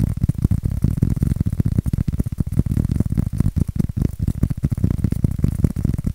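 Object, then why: Styrofoam form. A white styrofoam shape is scratched and tapped with fingertips and nails. The result is a dense stream of short, dry, low-pitched taps and scrapes with almost no ring and a dull, muffled thud under each touch.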